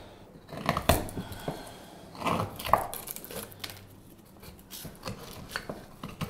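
A straight steel carving knife shaves the handle of a solid light wood spoon blank in irregular cutting strokes. Each stroke is a short, dry, crackling scrape with a bright edge, and the louder strokes stand out over quieter shaving between them.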